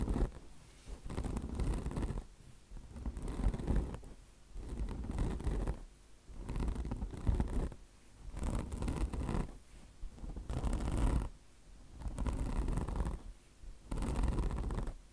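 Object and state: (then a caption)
Mesh-covered car wash sponge scratched. Long blue nails scratch the coarse mesh top of a mesh-covered microfiber car wash sponge resting on marble. The result is a series of rasping scratching bursts, each lasting about a second, separated by short quiet pauses. The sound is dull and low-heavy with little brightness.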